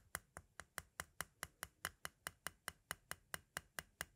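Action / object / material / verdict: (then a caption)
tap / plastic audio cassette shell / hard plastic / none. A pointed green tool taps quickly at the window area of a small, hollow white hard-plastic audio cassette shell. Nineteen short, dry, bright clicks come in a steady, even rhythm, each dying away almost instantly with a light hollow knock beneath.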